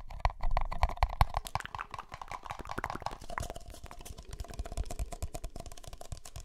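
Empty, hollow red-and-white disposable plastic party cups are held in the hands and tapped with fingertips and nails. The result is a rapid, irregular stream of soft, dull clicks and hollow thuds with a deep, low body and almost no ring. The tapping is busiest and loudest in the first few seconds, then settles into quieter, steady pattering.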